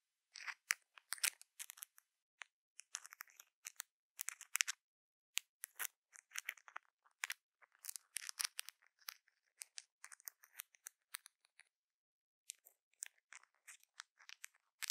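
Long pointed nails and a thin metal stick scratch and tap a dome-shaped microphone cover densely encrusted with small faceted rhinestones, likely acrylic or glass. Quiet, bright, clicky scratches and sharp ticks come in irregular clustered bursts with almost no low end, and each click dies away instantly. There is a brief pause near the end before the tapping resumes.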